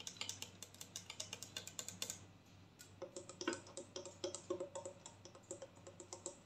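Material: Plastic.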